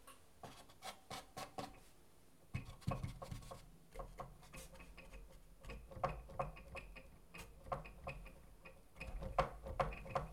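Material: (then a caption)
Wood. Fingertips and nails scratch and rub across the inside of a split acoustic guitar's thin wooden top, over its wooden bracing strips near the round sound hole of the hollow body half. Quiet, irregular taps and scrapes with a woody resonance around 535 Hz sit over a low rumble. Busier rubbing bursts come around the third, sixth and ninth to tenth seconds.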